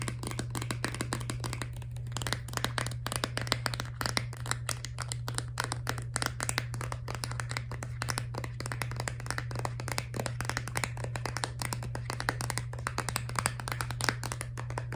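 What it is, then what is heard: Plastic toothpaste tube. A filled Crest Scope laminate plastic toothpaste tube is tapped and squeezed with long nails, producing a fast, continuous stream of dry clicky taps and soft crinkling squeezes. A steady low hum runs underneath throughout.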